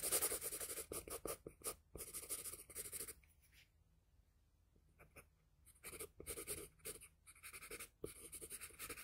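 A wooden graphite pencil tip is dragged across a flat sheet of drawing paper bearing a pencil sketch, in repeated short drawing strokes. The strokes make bursts of bright, dry scratching, then fall nearly silent for about two and a half seconds, apart from a few faint scrapes. The scratching then resumes in quick, uneven strokes.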